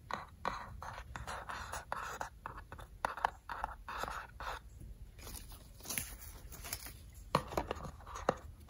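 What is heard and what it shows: A small rectangular hollow decorative tin box with a cat and floral print sits on a table with its lid closed and is tapped and scratched on the lid with fingertips and short nails. Rapid scratchy bursts centered in the midrange alternate with sharp, bright metallic taps that die away almost instantly, over a faint low background hum.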